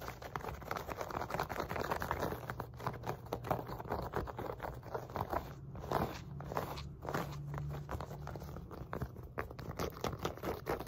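Long nails scratch and rub the woven fabric of a wide black elastic glute resistance loop band with a pink logo, lying on a lap. The result is a dense, steady run of dry, crackly scraping and rustling, mostly in the low-mid range, with a faint low hum underneath.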